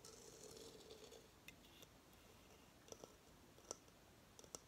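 Long fingernails tap on the base of a hollow coconut shell hamster hideout, held up with the base facing forward. Soft scratchy rustling fades into a few sparse, sharp clicks, each with a brief hollow mid-pitched knock and a bright tick that dies away almost instantly.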